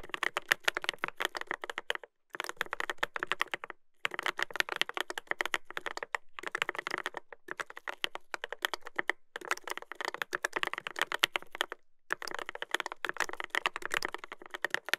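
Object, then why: Mechanical keyboard with plastic keycaps and metal plate. Fingertips type continuously on a Dolphin 2021 mechanical keyboard with a brass plate and plastic keycaps. The result is a dense stream of sharp, clacky keystrokes centered around 1.8 kHz with bright top edges and almost no ring. The typing pauses briefly near 2, 4 and 12 seconds.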